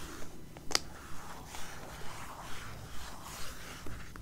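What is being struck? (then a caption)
Glossy coated-paper magazine cover. Long painted nails scratch and tap the glossy, coated paper back cover of a closed magazine lying face-up on a grey blanket. Soft, papery scratching strokes repeat at a steady rhythm of roughly two per second, with one sharp, bright tap early on.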